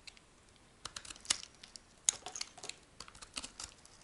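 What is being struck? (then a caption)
Laundry soap bar. A metal blade carves a solid brown laundry soap block, breaking off brittle chunks. Quiet, dry, crisp crackles and scrapes come in irregular bursts, almost entirely high and bright with no low body.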